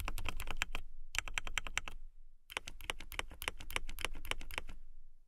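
A transparent acrylic mechanical keyboard with clear plastic keycaps and RGB lights is typed on with long nails. Bursts of quick, sharp clicky keystrokes have a bright ring around 2.3 kHz over a low thump, with a short pause near the two-second mark. Typing then resumes and fades out at the end.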